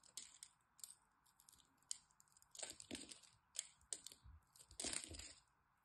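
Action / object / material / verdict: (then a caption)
scrape / bar of soap cut with a metal blade / soap / none. A metal blade cuts small cubes off the scored surface of a solid green dry soap bar held in the hand. The result is a quick series of bright, dry, crunchy scrapes and snaps as the flakes break away, with no ringing between cuts.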